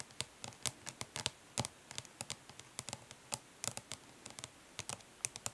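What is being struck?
Flat plastic makeup palette.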